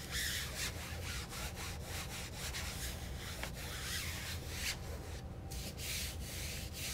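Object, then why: Padded fabric chair backrest. A hand in a blue nitrile glove rubs and wipes a white disinfectant wipe over the soft, cushioned blue-grey fabric backrest of an office guest chair with a black metal frame, mostly along the back and top edge. The result is a steady, rhythmic swishing and rubbing with bright, airy strokes over a low, constant rumble.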